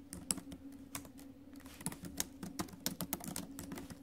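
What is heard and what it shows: Fingertips and nails tap the plastic keys of a silver metal laptop keyboard while typing, giving quick, irregular clicks with bright, sharp tops and almost no ring. A steady low hum sits underneath the uneven run of taps.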